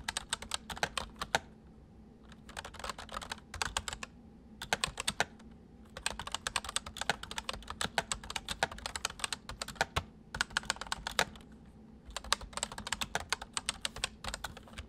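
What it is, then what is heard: Plastic mechanical keyboard. The fingertips of both hands type on a white full-size MSI plastic mechanical keyboard with hollow keys. Its sharp, bright clicks and clacks come in quick bursts separated by short pauses, each keystroke dying away almost instantly.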